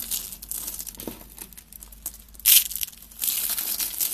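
Thin shaved strips of dry tan soap from a stacked block are crushed and crumbled between fingertips with long red nails, with flakes falling onto a pile. The sound is a dry, bright, crinkly crunching with a sharp louder burst midway and a denser stretch of crackling near the end.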